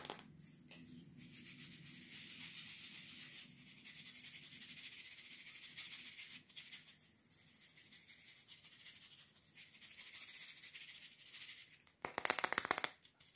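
Fingertips and nails rub and scratch quickly across the dark stiff bristles and wooden back of a hand-sized wooden bristle brush. The result is a steady, bright, hissing scratch with a faint low rumble underneath. Near the end it briefly cuts out, then returns as a louder, sharper burst of scratching.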